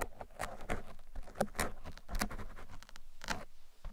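Thin metal picks poke and scratch across the sides and top of a black foam microphone windscreen. The result is a steady run of soft, close, rustling pats and scrapes with short bright bursts and a muffled, low-heavy body.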